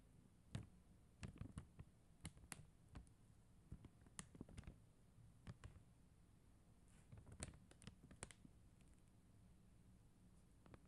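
Long acrylic nails tap slowly across a flat sheet of faceted plastic rhinestone gem stickers. The quiet, irregular taps give short, dry clicks with a soft low thump and a faint bright edge, some landing in quick little clusters between pauses.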